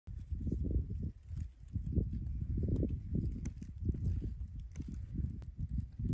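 Fingertips tap and trace along the engraved borer trails of a solid, weathered, bark-stripped dead tree branch lying on leaf litter. The result is a steady run of dull, low, muffled knocks and soft rubbing, with almost all the energy below 200 Hz and no ring.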